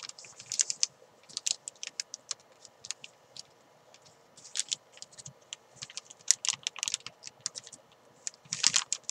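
Fingers pinch and crinkle the top of a thin clear plastic bag wrapped around a white climbing chalk ball. The result is a quick run of sharp, bright crinkles and crackles that come in uneven bursts, with almost no low end and no ring after each snap.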